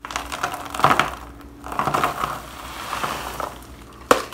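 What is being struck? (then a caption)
Pressed block of soap shavings. A pressed block of shaved bar soap is broken apart by gloved hands, then crushed and crumbled into a black plastic bowl. Dry, crisp crackling comes in bursts, with brighter snaps and small clinking bits falling, and ends in a sharp crunch.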